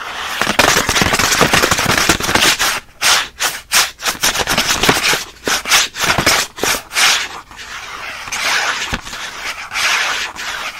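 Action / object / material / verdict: scrape / thin printed cardboard packaging card / cardboard / none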